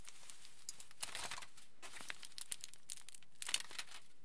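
A large, thin, crumpled sheet of aluminium foil is rubbed and crinkled between the fingertips of both hands. Quiet, bright, crackly crinkling comes in short bursts, with scattered sharp crackles standing out and fading almost instantly.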